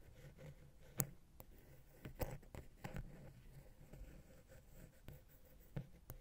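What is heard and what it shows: A wooden ear pick held in the fingers taps and scratches the side of a small, silver metal XY stereo microphone capsule with a hollow, grilled housing, mounted on a Zoom H6 recorder. Soft, low, muffled scraping runs throughout, broken by about six sharp, dry taps that stop instantly with no ring.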